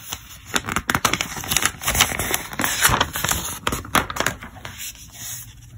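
A thumb riffles and flips a stack of pages at the edge of an open, thick glossy-paper trade catalog. It makes a quick run of bright, crackly paper flicks and snaps with short, dry decays. The flicking thins out and grows quieter over the last second.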